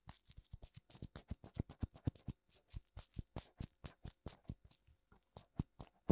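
Fingertips tap and rub both hollow white silicone ears, with ear canals, of a black binaural microphone. About thirty quick, dull, low thumps land in a steady patter, each with a soft bright scratchy rustle and almost no ring. The taps vary in loudness, and a few brief pauses break the rhythm.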